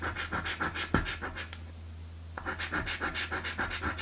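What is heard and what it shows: A coin scrapes the latex panels of a blue paper scratch lottery card in quick, rhythmic gritty strokes, broken by a sharp tap near the one-second mark. The scratching pauses for about a second before resuming in the same brisk rhythm, all over a steady low hum.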